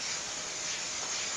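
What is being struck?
Nothing is struck.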